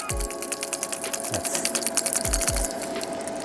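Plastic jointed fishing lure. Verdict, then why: Untreated. A Grand Edge 190SF jointed plastic swimbait, untreated with no adhesive on its front body bump, is shaken so its body sections knock together. A rapid, rattling run of sharp, bright clicks plays over a steady faint tone, with a few dull low thumps. Without the elastic adhesive, the joint gives a louder, higher clicking sound.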